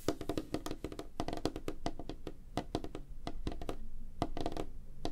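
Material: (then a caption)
Wood. Fingernails and fingertips of both hands tap rapidly on a flat, solid, light wooden tabletop. The result is a fast, uneven stream of short, dry knocks with a woody body around 300 Hz and bright clicky edges that die away almost at once.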